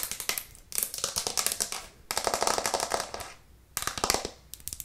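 A white plastic cutting board with green edges, held upright in both hands, is tapped fast and hard with long nails. The rapid, bright clicking taps come in four dense bursts separated by short pauses, each tap dry and quick to die away with almost no low end.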